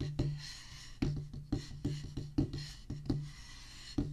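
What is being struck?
Rubber practice pad on a wooden base.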